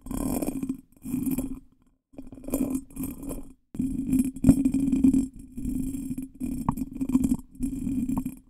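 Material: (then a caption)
Glass. Fingertips and nails tap and scratch the patterned surface of a small, hollow, ornate pressed or cut glass bottle that looks empty, held upside down close to a microphone. Short bursts of dense scratching and tapping come and go with brief silences, over a steady hollow tone near 270 Hz with faint high shimmer. A few sharper glassy clicks stand out from the scratching.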